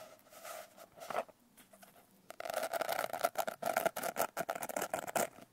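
Long nails scratch and rub the coarse glitter cover of a closed blue glitter hardcover notebook. A soft, quiet rasp comes first, then a denser run of quick, gritty scratching strokes with a bright edge over a midrange tone.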